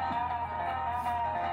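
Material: Nothing is struck.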